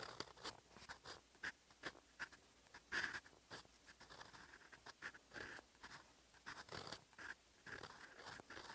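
A silver metal fountain pen nib writes in olive ink on flat, lined writing paper, making quiet, continuous scratching handwriting strokes. Short, crisp bursts of dry scraping with a bright, papery edge and a faint tone near 1.7 kHz rise and fall as each stroke is drawn, with brief soft pauses between them.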